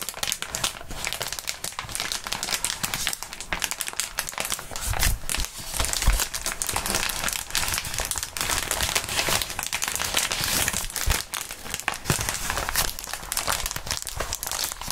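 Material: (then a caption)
Plastic. Gloved fingertips squeeze and crinkle crumpled clear plastic bubble wrap, producing a steady, dense, bright crackling and rustling for the full clip. A few soft low thumps rise through the crinkling near the middle and again later on.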